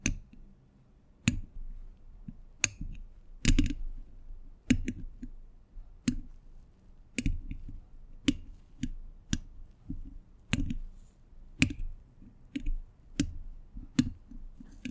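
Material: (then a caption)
Steel. Metal thimbles on the fingertips tap sparsely on a hollow steel mesh microphone grille. Each tap is a sharp, bright click that dies almost instantly, with a dull low thump beneath it. Quiet rustling fills the gaps between taps.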